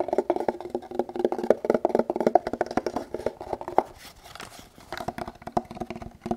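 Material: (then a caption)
Kydex plastic. An empty, hand-sized molded kydex pistol holster with a multicam camo pattern and a hollow rigid-plastic shell is held in both hands and tapped and scratched with fingertips and nails, with no gun inside. Rapid, dry, hollow clicks with a midrange knock come in quick, uneven bursts. They ease into a quieter stretch of light scratching before the tapping picks up again.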